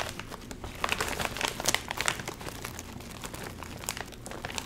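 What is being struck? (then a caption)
Metallized plastic film chip bag. A full Doritos chip bag made of metallized plastic film is handled, crinkled and squeezed by the fingers and lifted near the face. It gives a dense run of bright, crackly crinkling with sharper, louder snaps clustered early and again near the end, over a quiet low rustle.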